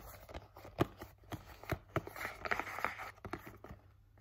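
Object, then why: Printed cardboard box. A flat, hollow, printed cardboard Halti headcollar package is held upright and tapped and scratched with fingertips and nails. Sharp, dry taps stand out over a softer, continuous scratching rasp.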